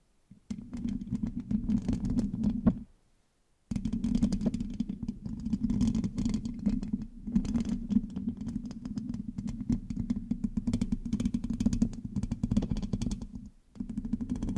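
Long acrylic nails on both hands scratch and tap the hollow black metal mesh grille of a large USB microphone. The result is a dense, crackly run of scratching and tapping over a steady low hum near 190 Hz, with bright flecks above. It breaks off in a short silence around three seconds and dips briefly near the end.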